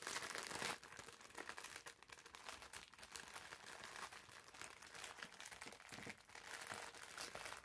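Fingertips and short nails squeeze, scratch and crinkle the thin clear plastic film sealing a green, hand-sized foam bath massage sponge with a paper label while it is held. A dense, bright crinkling and crackling runs throughout, loudest in the first moment, then continuing as steady rustling with little low end.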